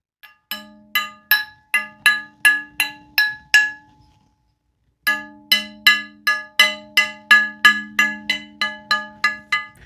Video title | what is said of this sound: BUYING VINTAGE SHOTGUNS | if they do ring the entire length of the barrel, um that means they're good